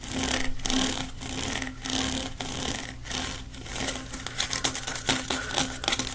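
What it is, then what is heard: Plastic pop tube. A blue corrugated hollow plastic pop tube is held in the hands while fingers scrape rapidly over its ridges. It makes dense, bright, ratcheting rasps in sustained swells with brief pauses, turning into quicker, choppier strokes toward the end. A faint steady low tone runs underneath throughout.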